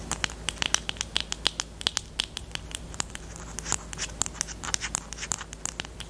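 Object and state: Plastic highlighter pen.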